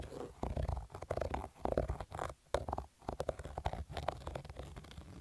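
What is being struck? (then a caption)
Cotton fabric baseball cap. Fingertips and nails scratch the stitched crown of a black cotton baseball cap with an embroidered logo. The result is a dense run of rough, muffled scratching strokes, heavy in the low end, broken by a few short pauses.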